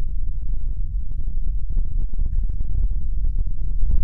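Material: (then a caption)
Fabric. Fingertips and nails rapidly tap and scratch a square, cartoon-print stuffed fabric throw pillow held close to the mic. The result is a dense, continuous stream of soft, muffled thumps and rustles that stay deep and boomy, with almost nothing bright, at a steady level throughout.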